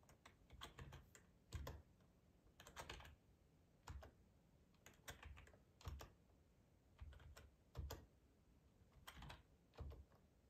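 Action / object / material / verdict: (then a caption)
tap / plastic computer keyboard / plastic / none. Fingertips with short nails type on a hollow, black plastic ergonomic split keyboard resting on a plaid tablecloth. Irregular bursts of quick key clicks come in clusters with short pauses between them. Each tap has a low, hollow thump under a bright, crisp click.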